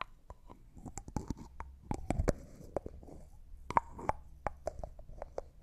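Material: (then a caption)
Glass. Fingertips unscrew and screw the white plastic screw lid on a small, hollow, clear cosmetic jar that looks like glass and appears empty. A quiet, irregular series of short, dry clicks and taps is heard, some carrying a faint ringing tone, over soft scraping of the threads.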